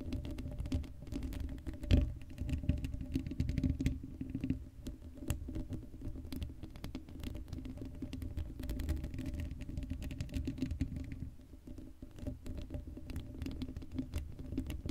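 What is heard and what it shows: Long acrylic nails scratch the hollow black steel mesh grille of a Blue Yeti microphone. The result is a dense, continuous patter of low, rumbling scratches with a steady faint hum, and one sharper, louder knock near the 2-second mark.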